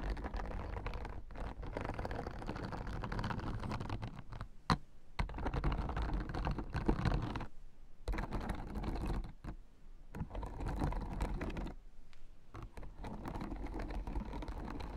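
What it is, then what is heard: Plastic acupressure mat. Long dark-red painted nails on both hands tap and scratch quickly across the white hard-plastic spiked rosettes of a blue, flat, foam- and fabric-backed acupressure mat lying in front of a sparkly dark cloth. The result is a dense, fast stream of short, dry clicks and scratchy rustling with no ring after each contact, sounding close to keyboard typing. Brief near-silent pauses fall around the middle and later in the clip.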